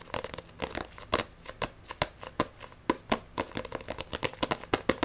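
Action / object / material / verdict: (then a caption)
scrape / paperback book, paper cover and spine / paper / none. The cover and spine of a Blue Exorcist paperback manga, a solid paper block, are scratched and gripped with long nails in a fast, aggressive rhythm. Some 25 short, dry scratches and taps follow one another, each a bright papery crackle with a faint tone around 520 Hz that dies away almost instantly.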